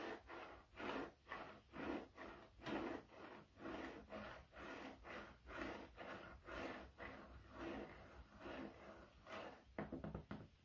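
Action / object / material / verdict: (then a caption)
tap / wooden cutting board / wood / none. A light, solid, flat wooden cutting board held in the hands is scratched and tapped with fingertips and nails to help reduce stress. Soft, quiet scratching strokes repeat in a loose, uneven rhythm, with a dry midrange woody tone that dies away quickly. A quicker run of taps comes near the end.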